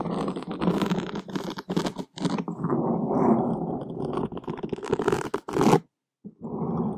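Wooden skewers scratch across a black foam microphone windscreen, making a dense, continuous rustling scrape with a muffled, low-mid body and little high end. The scratching comes in uneven bursts that stop briefly near the end, then resume.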